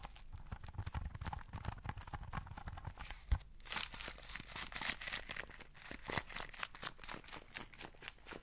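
Fingertips and nails scratch and tap the sides and lid of a small, printed, sealed paper cup of instant noodles that is likely full. A steady, quiet stream of dry, crinkly scratching and rapid light taps is heard, with soft low thumps underneath and bright papery edges on top. One sharper, louder tap stands out about a third of the way through.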